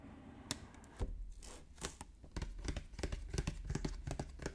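Fingertips and nails tap and scratch the top of a Pokémon Chilling Reign Elite Trainer Box, a medium-sized hollow printed cardboard box, possibly still shrink-wrapped, lying on a wooden table. A quick, irregular series of dull, low, hollow taps is mixed with short bright scratching and tearing-like rasps. Each tap dies away almost instantly.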